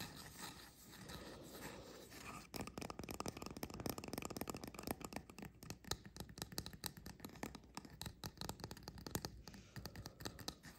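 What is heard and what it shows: Fingernails scratch and tap the cap edges and undersides of a small, upright, painted resin mushroom fairy-house figurine. It opens with about two seconds of soft, quiet scratching, then breaks into a fast, dense run of crisp, dry taps and scrapes with a bright edge. The taps stop short, with almost no ring.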